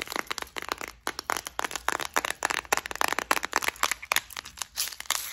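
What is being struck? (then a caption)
Small plastic compartment case with metal beads. A small clear plastic flower-shaped case with several compartments, full of gold metallic beads and studs, is held in the hands, tapped and scratched with long acrylic nails, and shaken so the beads rattle. Dense, bright clicks and crinkly scratches come in quick bursts with almost no low end, each one dying away instantly.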